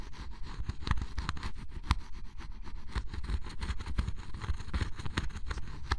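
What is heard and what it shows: A flat metal spatula-like blade scrapes the black coating off a red area of scratch-off cardboard jigsaw puzzle pieces, leaving black flakes behind. The result is a steady run of close, rapid scraping strokes with a low, rumbly body and bright, crackly edges on the sharper passes.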